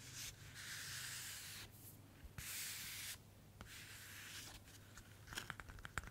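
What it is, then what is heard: Paper notebook cover. Long natural nails scratch and rub across the surface of a thin white paper-covered notebook with an eye print, held in both hands. Long bright, hissy strokes alternate with brief pauses, ending in a run of quick, sharp scratches over a faint low hum.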